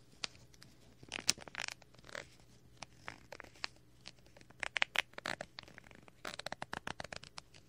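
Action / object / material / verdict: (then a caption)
tap / thin plastic packaging bag / plastic / none. A small clear plastic bag package with a printed paper or cardboard header card is held in the hand next to a binaural microphone, while a thin wooden stick scrapes and taps the plastic film. The result is an irregular run of sharp, bright crinkling taps and short scratchy rustles, dry with almost no ring and very little low end.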